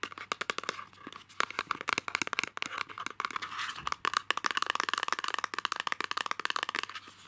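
Fingertips and short nails tap and scratch the sides of a small, light printed cardboard box for masking tape, with a roll inside, held in both hands, and work its perforated tab. The result is a rapid, uneven run of dry, crisp taps and scratchy crinkles, bright and close, with almost no ring, over a faint low hum.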